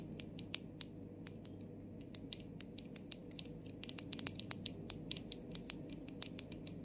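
Long nails tap and scratch the rim and top of the clear plastic cap over the gold sprayer on a tilted plastic body mist bottle. About 33 sharp, bright clicks ring off almost instantly, irregularly spaced and quickening in the middle, over a faint low hum.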